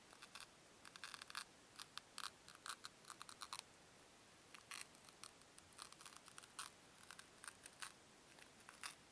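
Fingertips with long nails rub and press two small, solid white foam cubes against each other. The result is quiet, bright, dry crackling squeaks and scratchy clicks in irregular bursts, with a brief pause near the middle before the rubbing resumes.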